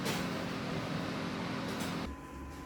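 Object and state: Nothing is struck.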